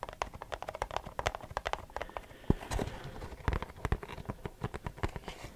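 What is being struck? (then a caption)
Cardboard box. A printed Versace perfume cardboard box is tapped with short fingernails and fingertips. Quick, dry taps and clicks come in rapid, uneven runs, with short ring and a soft, low-heavy body under sharper nail clicks.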